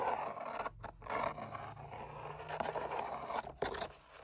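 Fingertips and nails tap and scratch along the face of a long, narrow, hollow red-brown tooled leather sword sheath with gold line decoration, hanging on a wall. A dense, continuous rasping scrape fills the clip, broken by brief pauses and a few sharper tapped accents.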